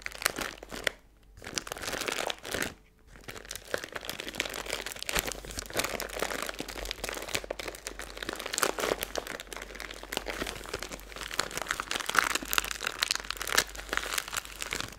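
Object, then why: Plastic zip bag filled with glitter. A small clear plastic zip-top bag with a green seal, full of silver glitter, is crinkled and squeezed with long blue nails and fingertips. Dense, bright crinkling and crackling runs almost continuously, with two brief quiet gaps near the start.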